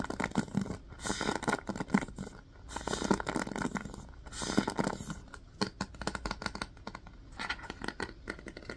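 A wooden paddle hairbrush with a black cushion and pins is held in the hand while fingertips and nails tap and scratch its wooden back and bristles. Dry, bristly scratching comes in bursts mixed with many quick, short taps, with soft lulls between passes.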